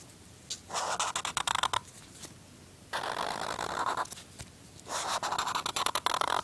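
A black felt-tip marker is drawn across a flat white paper sheet bearing a pencil sketch, making scratching, squeaking lines. The sound comes in three bursts of quick, uneven strokes with a bright, hissy squeak, separated by short quiet pauses.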